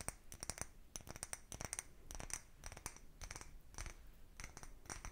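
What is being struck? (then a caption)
Small cut-glass bottle. A small, empty, clear cut-glass bottle with a narrow neck is held in both hands and tapped and scratched with fingertips and nails. Quick, quiet clicks and scrapes follow one another with bright glassy pings and a low hollow undertone, each dying away almost at once.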